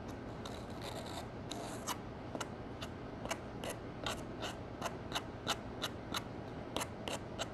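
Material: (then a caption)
Pressed powder. A metal spatula, held by a hand with long nails, digs into a green pressed powder eyeshadow pan in a gold palette and crushes it into flakes. Soft, bright scraping and rubbing give way to a run of sharp, crisp crunches and clicks at an uneven pace over a steady low background hum. The pressed powder ends up broken apart.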